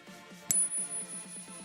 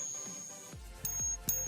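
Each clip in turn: First: genuine silver dollar coin. Second: fake Morgan silver dollar.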